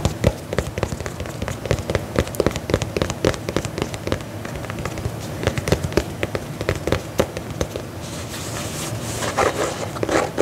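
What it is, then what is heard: Faux leather boot, tapped and scratched. A black faux leather lace-up combat boot is held upright close to the mic while fingernails scratch and tap its upper. Quick, dry clicks and taps with a low, thuddy body run over a steady scratchy rustle. Near the end, the scratching turns brighter and hissier.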